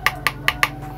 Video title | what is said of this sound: HEADPHONE ANC 300 RIBUAN ??!! - Review Headphone Eggel Live Hybrid ANC + ENC | kalau diketuk seperti ini ini kayak berasa kurang padat